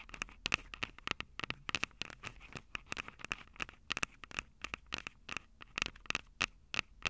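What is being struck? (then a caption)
Plastic and metal handheld audio recorder. Long acrylic nails rapidly tap the metal-grilled mic capsules of a Tascam DR-05 handheld recorder with a plastic body. The taps come as dense, irregular bursts of sharp, dry clicks and scratchy ticks. They are bright and close, with a faint ringing tone near 2.6 kHz and almost no low end.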